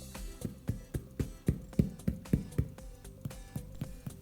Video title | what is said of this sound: Домашний хлеб из цельно зерновой пшеницы, заваренный кипятком на дрожжах! | ça sonne bien cuit du pain